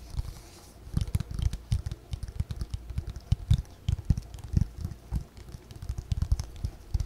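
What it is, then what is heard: Spiral paper notebook. Long fingernails tap and scratch the cover of a white, roughly A5 spiral-bound paper notebook held in both hands close to the mic. The result is a rapid, irregular patter of soft, dull, low thumps with faint bright scratchy edges, each dying out almost instantly.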